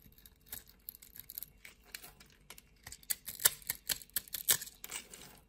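A utility knife blade scrapes small cubes off a solid, scored green soap bar held in hands with long nails. Quiet, bright, crisp scraping and crackling sounds come in irregular bursts, growing louder and sharper in the second half as the cubes break away.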